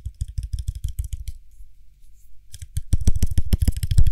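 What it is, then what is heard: Small glass cosmetic jar with metal lid. A small, hollow, apparently empty frosted glass (possibly acrylic) cream jar with a gold lid is turned in the hands while fingertips tap fast on its body and lid. The quick, dull tapping has soft low thuds and bright clicky edges, dies away almost instantly, and pauses briefly in the middle. It then returns louder and denser toward the end.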